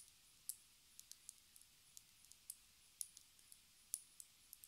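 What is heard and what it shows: A small square plastic lip gloss tube with a white cap, filled with product and held horizontally, is tapped with long red nails. Quiet, sharp, bright clicks come at an uneven, unhurried pace, each dying away almost instantly with no ring. Little but faint hiss fills the gaps between taps.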